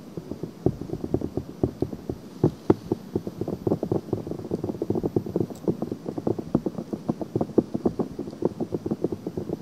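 Long nails rapidly scratch a pink silicone ear on a binaural microphone, producing a dense run of dozens of short, dry scratching taps. The scratches sit mostly in a muffled low-mid band with little brightness, and they continue unevenly throughout the clip.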